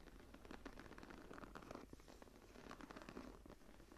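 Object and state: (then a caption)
Embossed leather journal cover being scratched. Long nails on both hands scratch and rub the textured cover of a closed embossed leather journal lying flat. The result is a quiet, continuous, dry scratching rustle with scattered short, crisp ticks. It sits mostly in the low and middle range, with little bright content.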